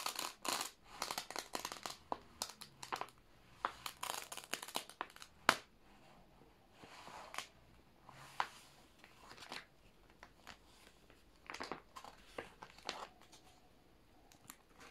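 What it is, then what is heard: Plastic sheet protectors in a binder. A flat hand rubs and presses over a stuck plastic sheet protector holding newspaper clippings in an old binder, then lifts and peels the stiff sleeve away from the stack. Quiet, bright bursts of crackling and crinkling come in rapid clusters, with short pauses between them.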